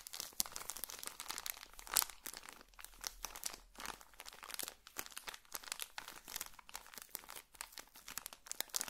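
A small, colorful pocket tissue packet in a thin plastic wrapper is crinkled and rubbed between fingertips close to the microphone. Quiet, bright crackles and rustles come in dense, rapid bursts with almost no low end, and each one cuts off immediately.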